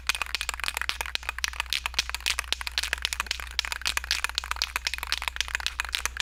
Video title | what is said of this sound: 🔴Replay: Epoxy vs Fabric Scraps - Episode 129 | it has a ball in it you can hear